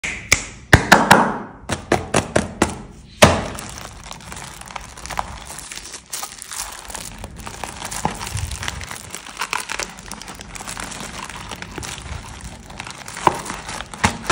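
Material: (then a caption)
Cardboard. A small yellow cardboard box of Dream chocolate biscuits, sealed in clear plastic film and full of packs, is tapped with bare fingertips. A run of sharp taps and hollow thunks then gives way to steady crinkling of the film as hands pick the box up and turn it, with a few more sharp knocks near the end.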